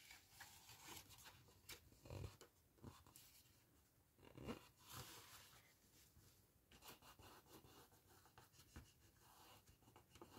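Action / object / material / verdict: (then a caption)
scrape / cardstock paper gift box / cardboard / none. A small, hollow, empty handmade gift box of patterned cardstock stands on a towel while fingertips and long red-painted nails rub and scratch along its bottom edge and corner to crease it. Soft, papery rubbing and scratching fills the clip, broken by brief brighter scrapes and a few louder dull taps against the box.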